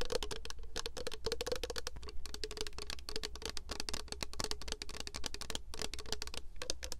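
Long acrylic nails tap rapidly and continuously on a tall, clear plastic Victoria's Secret body mist bottle with a green printed pattern and a gold cap, held in both hands. The hollow bottle is partly filled with liquid. The nails make quick, dry clicks with a faint hollow tone, over a steady low hum.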